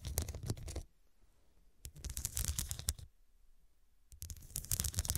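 Long nails scratch and tap across the square glass studs on top of a soft pillow, making dense, bright, rustling scratches with a low rumble underneath. The sound comes in three bursts separated by quiet pauses.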